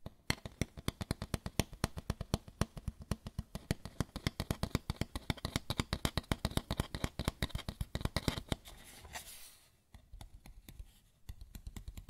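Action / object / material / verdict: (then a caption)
tap / lampshade / unknown / none. A white lampshade is tapped and scratched. A fast, steady run of dry, short taps continues for about eight seconds, followed by a brief soft scratching passage and then a few quieter taps at the end.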